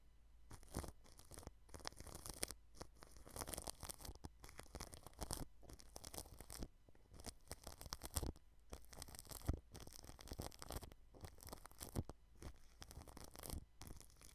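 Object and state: Plastic cling film over a microphone, brushed.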